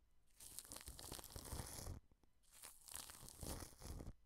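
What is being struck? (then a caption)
Plastic cling film over a microphone. A wide brush sweeps over plastic cling film wrapped over a microphone, brushing the plastic under the grille. There are two long strokes of dense, bright crinkling and rustling with a strong low rumble beneath, separated by a brief pause.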